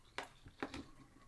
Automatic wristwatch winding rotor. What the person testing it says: if I was to put it down you can hear the rotor wobble that's when you give it a shake